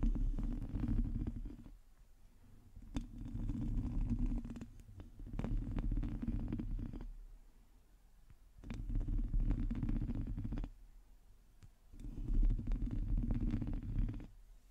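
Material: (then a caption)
Metal mesh. Long teal acrylic nails on both hands scratch the hollow, domed metal mesh grille of a black microphone. The scratching comes in five bursts separated by quieter pauses, producing a deep, boomy rumble with rapid, irregular crackling ticks layered on top.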